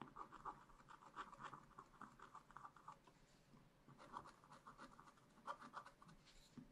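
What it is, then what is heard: Scratch-art paper page. A wooden stylus scratches fine lines into black wax-coated scratch-art paper in a spiral-bound pad, etching a raccoon picture. Soft, dry scratching strokes come in quick, uneven bursts with short pauses, centered in a thin midrange band with faint bright edges. The sound stays quiet and close throughout.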